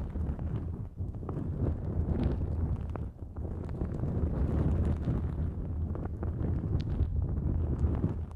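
Long nails on both hands scratch a thin, flexible pink-white nonwoven fabric drawstring pouch stretched over the microphone. The result is a dense, continuous, muffled rumbling scrape, mostly low and boomy, with faint brighter ticks, easing briefly near 1 and 3 seconds.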